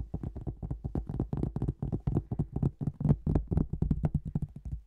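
A thin, flat marbled cork tile, held partly horizontal above the microphone, is tapped with fingertips and nails. The result is a quick, irregular run of soft, dull taps with little ring, low and muffled in tone.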